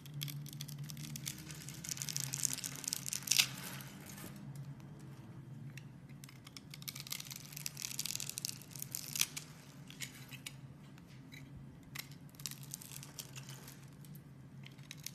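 A metal box-cutter blade carves a solid green bar of soap along its pre-scored grid, so tiny cubes fall off. Bright, crisp scraping and crunchy crackles come in quick dense bursts, loudest near 3 seconds and again around 9 seconds, over a faint steady low hum.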